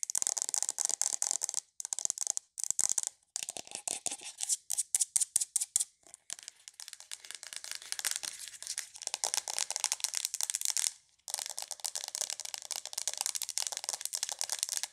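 Long nails tap rapidly on the shell of a hollow, hand-sized white plastic aroma diffuser with a green LED. The result is a dense, bright, crinkly clicking with almost no low end, broken by a few short pauses.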